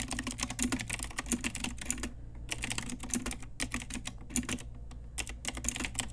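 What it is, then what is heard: Plastic mechanical keyboard. Fingertips and long nails type steadily on a pink Ajazz typewriter-style retro mechanical keyboard with round plastic keycaps. Rapid bright plastic clicks and clacks come in bursts, broken by a few short pauses. A faint low hum runs underneath throughout.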